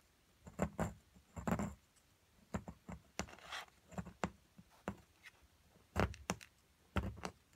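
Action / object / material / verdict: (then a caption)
scrape / plaster block with embedded crystals, chipped with a small metal chisel / plaster / none. A small metal chisel scrapes and chips at the white plaster of a solid plaster excavation block with purple crystals partly exposed. Short, sharp taps and crumbly chips ring with a dull low thud, mixed with a brief gritty scrape. The strikes come in irregular bursts with quiet pauses between them.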